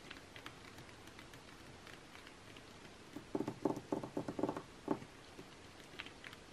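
Long nails tap and scratch the same page spread of printed makeup ads in an open glossy magazine lying flat, its thin coated paper giving a quiet, papery patter over a soft hiss. Faint, bright scratches run throughout, and a cluster of quick, dull taps stands out in the middle before fading back to light scratching.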